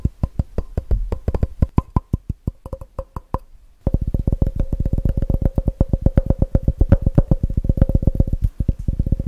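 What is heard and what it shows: Fingertips tap fast and aggressively on the base and walls of a clear, empty plastic measuring jug with red markings, held on its side. The result is a rapid run of short, dry, hollow knocks with deep thumps and a faint ringing tone around 520 Hz. After a brief lull just before four seconds, the tapping returns louder and denser.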